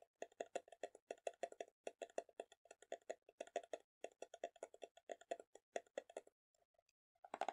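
Fingernails tap and scratch the clear plastic side and printed white lid of a small round plastic tub full of green kiwi slime. It makes a quiet, rapid stream of dry, clicky taps, like typing, with a hollow plastic body around 700 Hz and a brighter edge. The tapping stops briefly near the end, then a louder scratch follows.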